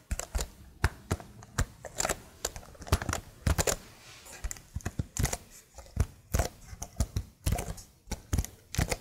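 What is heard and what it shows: Long nails tap the keycaps of a plastic laptop keyboard held upright, one-handed. There is an uneven run of short, dry plastic clicks and clacks, each dying away almost instantly, with soft low knocks under brighter ticks.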